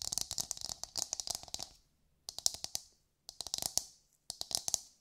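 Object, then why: Coconut shell half. A hollow, brown, fibrous coconut shell half is held in both hands and tapped and scratched with long nails. Quick bursts of bright, dry clicks with almost no ring come in four flurries separated by short silences.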